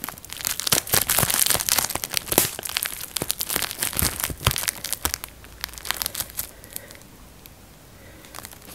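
Thumbs and fingertips pinch and pop the air bubbles on a clear plastic bubble wrap sheet held in the hands, folding it slightly as they go. Rapid, irregular bright snaps and crinkles come thick and loud for the first five seconds, then thin out into scattered pops over a quiet crinkling hiss.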